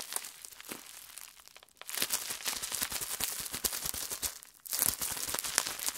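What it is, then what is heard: Plastic bubble wrap. A small rolled piece of clear plastic bubble wrap is held in the hands, twisted and squeezed with the fingers. A soft, bright crinkling opens the clip, then dense runs of sharp, crackling pops burst out, pause briefly, and return louder. The sound is high and dry with almost no low end.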